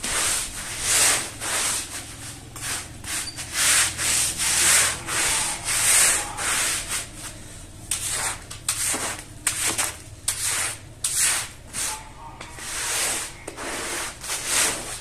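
A long-handled plastic-bristle brush scrubs the soapy, wet surface of a small, muddy, floral woven rug with fringe. The sound is a run of irregular back-and-forth strokes, each a bright, wet, hissing swish that rises and fades, with little low-end weight.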